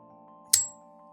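A steel J-Cape version 3 folding knife blade is flicked once, giving a single sharp, bright, bell-like ring that fades within a fraction of a second. The blade's ring is normal for this knife, and a steady low hum runs underneath throughout.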